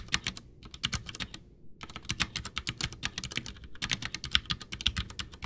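Both hands type with their fingertips on a full-size, backlit, white plastic Ducky One 2 mechanical keyboard with Cherry MX Brown switches and a hollow case, resting on a desk. A rapid run of short, bright keystroke clacks, each with a soft low thud underneath, pauses briefly near the start and then continues steadily. Each press dies away almost instantly.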